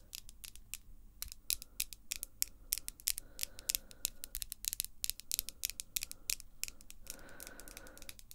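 Long glossy pink acrylic nails, small and solid, are tapped and scratched nail-on-nail with both hands. The result is a quick, irregular stream of sharp, bright clicks and taps with no ring, over a faint low background. Toward the end, a soft humming tone rises under the clicks.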